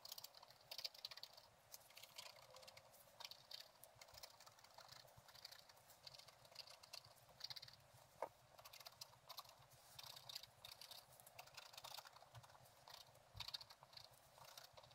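A thin wooden stylus scratches short strokes into a flat page of black-coated scratch-art paper with a gold underlayer, set in a book. The result is a steady, quiet stream of dry, bright, high-pitched scratching with little low end, with one sharper tick standing out near the middle.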